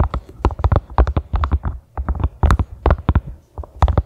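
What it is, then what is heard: Silicone collapsible funnel. A small, hollow, empty pink silicone collapsible funnel stands upright on a grey carpet and is tapped by long manicured fingernails gripping its ridged sides. The result is a quick, irregular run of soft, dull, low thumps that stop dead with no ringing, coming in uneven bursts with brief pauses between them.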